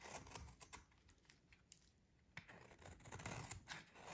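A metal utility blade scrapes thin shavings from a solid, dry, green rectangular bar of soap held in the hands. Short, crisp, bright scraping strokes come in an irregular run, quieting briefly in the middle before picking up again.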